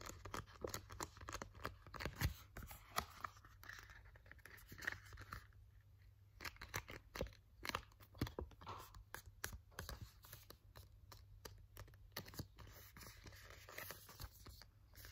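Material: Cardboard.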